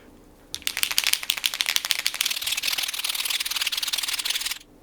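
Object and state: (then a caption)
Paint marker with a free-rattling mixing ball. A Deleter NeoPico Line White paint marker is shaken, producing rapid, bright clicking as the mixing ball rattles freely inside for about four seconds. The free-moving ball shows the white ink is being stirred as it should be.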